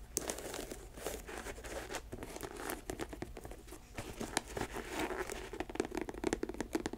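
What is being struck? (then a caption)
Leather sneaker. Long nails scratch and tap the leather upper of an empty white leather sneaker with an air-cushion sole. The result is a dense, dry crinkling scratch broken by many quick, sharp taps that stop dead with no ring.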